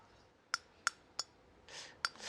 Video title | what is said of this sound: 금투자의 모든 것! 현물•선물•ETF•관련주 총정리 (ft. 진짜금과 가짜금 식별법) - 조규원 | 예, 이건 진짜 순금이 맞아요.